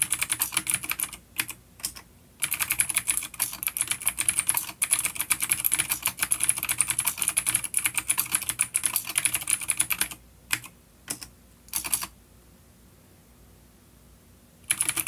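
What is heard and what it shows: A full-size black plastic vintage mechanical keyboard with grey keycaps and a coiled cable, an A-grade unit with clicky blue switches, is typed on with the fingertips of both hands on a wooden desk. Rapid, bright, crisp clicks come in dense bursts, with a short gap near the start and a few scattered taps before the typing stops. After a stretch of near silence, the typing resumes briefly at the very end.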